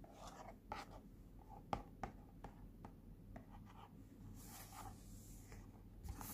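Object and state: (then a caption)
Cardboard box, scratched and tapped. Fingertips and nails rub and scratch across the printed front of a small, flat, pink cardboard Cooky face point mask box held in the hand. Quiet, short, dry ticks and scrapes sound over a low, steady rumble, with a softer, airy scratching hiss near the end.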